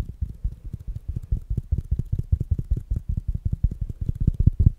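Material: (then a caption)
Fabric, plastic. A small, rounded black smart speaker with a fabric mesh cover is held up close and tapped rapidly with fingertips and nails. The result is a fast, steady run of short, dull, low thumps with almost no ring or bright edge.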